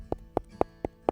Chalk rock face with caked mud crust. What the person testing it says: It looks like a solid rock. It looks like, you know, it's just a piece of granite. It's not. If you tap it, it sounds hollow.